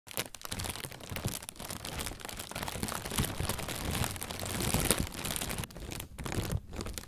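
A thin white plastic bag, inflated with air and hollow, is held in both hands and squeezed and crinkled with the fingertips and pink-painted nails. It makes a steady, dense crinkling and crunching with sharp crackles, full low body and bright rustle, briefly dipping quieter near the end.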